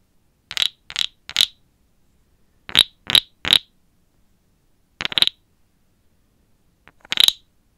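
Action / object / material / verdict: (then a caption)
scrape / carved wooden frog guiro scraped with a stick / wood / none. A small, hollow, carved light wooden frog guiro is held in one hand while a wooden stick, gripped by long black nails, is scraped along its ridged back and tapped on it. Ten short, dry, bright rasping strokes come in a group of three, another three, a pair, then a faint one and a final stroke. Each has a high, woody ring that dies away almost instantly, with silence between.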